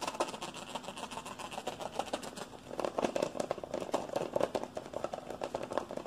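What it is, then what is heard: Plastic deodorant stick. Fingertips and nails tap and scratch fast on a hollow, hand-sized white and green plastic deodorant stick container. The result is a rapid, dense run of short, dry clicks and scrapes with a hollow mid-range tone around 530 Hz and almost no low end. The taps grow louder and sharper in the second half.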